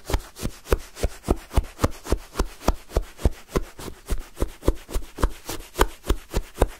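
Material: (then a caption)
Ice. A wooden spoon is stabbed and dragged again and again through a full cup of pale, granular lemon sherbet shaved ice. About two dozen quick, crunchy scraping strokes come in a fairly steady rhythm, each a short dry burst of crackling ice crystals that stops almost at once.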